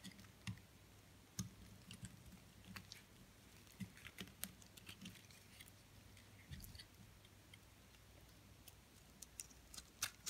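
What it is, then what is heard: Bar of soap being shaved. A metal blade shaves slices off the surface of a solid white branded soap bar held in the hand. The result is a quiet run of short, crisp scraping clicks with a bright, high edge over a low background hum.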